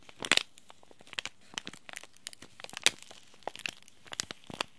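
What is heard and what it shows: A small, sealed, green laminated plastic-foil tea bag sachet is crinkled and squeezed between the fingertips. It makes a quick series of sharp, bright crackles with almost no low end, the loudest bursts near the start and just before the three-second mark. Each crackle dies away almost instantly.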